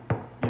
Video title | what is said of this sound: My favorite homemade bread recipe | you thump it and it sounds hollow